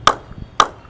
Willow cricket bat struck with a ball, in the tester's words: Ping outstanding ball के साथ भी हम चेक कर लेते हैं। इसमें भी सेम है। There is no वाइबेशंस at all